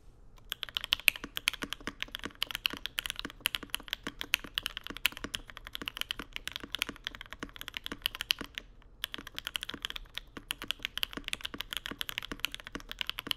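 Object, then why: Mechanical keyboard, plastic keycaps, aluminum plate. A Mode Sonnet tenkeyless-style mechanical keyboard with Vermilion Bird switches, an aluminum plate, white plastic keycaps and a dark case rests on a deskmat on marble while two hands type continuously with their fingertips in rapid taps. The result is a dense, steady stream of short, bright clicky clacks with very little low end, broken by a brief pause near nine seconds before the typing resumes.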